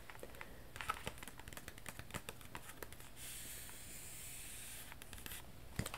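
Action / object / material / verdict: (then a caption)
tap / glossy paper magazine cover / paper / none. Long acrylic nails tap and trace across the glossy cover of a thin, flat, soft-cover paper magazine held upright. Quick, crisp clicking taps give way to a steady, hissy scraping as the nails slide across the slick paper. Scattered taps then return, ending with a sharper tap.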